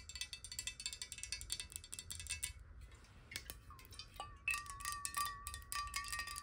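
Long nails tap rapidly on a clear square glass bottle partly filled with water, tilted in the hands. Bright, clicky taps come in quick bursts, briefly thin out, then return with clear, high ringing tones. The tones shift in pitch as the water moves in the tilted bottle.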